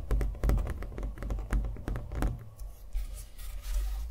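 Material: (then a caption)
Canvas. A small stretched canvas on a wooden stretcher frame, hollow behind and covered in thick acrylic paint with a green centre, is held up in both hands and tapped with fingernails on the painted surface. A quick run of dull, low, hollow thumping taps dies away fast, with the taps growing softer and more scattered toward the end.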